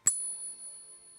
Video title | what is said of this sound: Stackers Strike Back: Silver & Gold Surge Incoming! LIVE!🪙📈 | Listen to that silver ring.